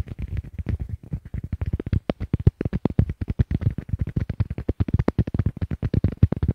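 Fingertips tap a pair of small white hollow plastic Apple EarPods, which are the recording microphones, both at once in quick bursts as they rest on a wooden table. About 44 short, dull, boomy thumps come through, heavy in the low end with almost no brightness. Each one dies away instantly.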